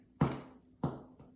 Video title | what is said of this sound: Easy Bread Recipe! Two loaves- sweet white bread & cinnamon swirl! No fancy equipment! | it's totally Hollow which means it's cooked all the way through